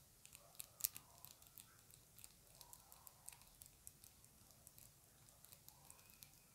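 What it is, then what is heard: Plastic compact case. A small round dark plastic compact makeup case with a printed lid is held in both hands and tapped and scratched with long acrylic nails. About two dozen quiet, sharp, bright clicks and ticks stand apart over a soft scratching hiss. Each tap stops almost instantly with no ring.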